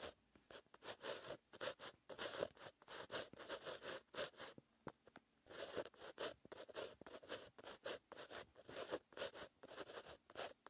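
A pen tip with green ink scratches across a white lined paper notebook page while writing. It makes quick, bright, papery strokes in irregular bursts, with short pauses between words. Most of the energy sits in the high range and there is almost no low end.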